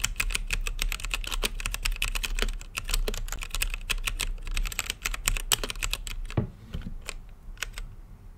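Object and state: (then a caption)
Plastic mechanical keyboard. Both hands type with their fingertips on an RGB-lit mechanical keyboard with plastic keycaps and a clear acrylic case. Fast, bright, clacky keystrokes run in a dense stream over a low steady hum for about six seconds. The typing then thins out into a few isolated key presses.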